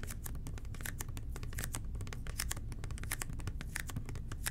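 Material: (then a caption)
Plastic. Fingertips rapidly tap and scratch the labeled sides of a red plastic toilet cleaner bottle. The result is a dense stream of short, bright plastic clicks and scratchy rustles over a steady low hum.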